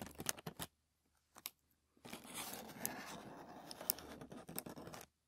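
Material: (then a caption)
Paper. Fingertips and short nails scratch a thin white tissue paper sheet lying flat on a wooden table. A few quick, crisp scratches come first, then a pause and a brief pair of rustles. After that comes a steady, bright scraping and crinkling that runs for about three seconds before stopping.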